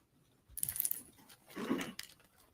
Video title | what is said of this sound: RUST: NM v. Hannah Gutierrez: Movie Set Sh-ooting Trial #alecbaldwin #hannahgutierrez #rustmovieset | when you shake it you hear ball bearings inside of the round